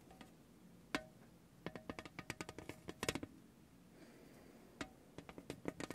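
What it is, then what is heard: Thin tin tray tapped by a rubber ball. A spiky orange rubber massage ball is pressed and rolled by hand across a large, thin, lithographed painted tin tray, making rattling, tapping contacts. About 22 short, dry taps come in bursts with a quiet pause in the middle, each hitting a hollow metallic tone around 450 Hz with a bright edge and almost no ring.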